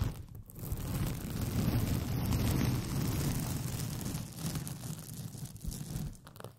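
Long painted fingernails scratch and rub a white paper sheet with pink polka dots, rolled into a hollow, empty tube over the microphone. The result is a steady, muffled, boomy rustling scratch, heavy in the low end, that swells and fades over several seconds.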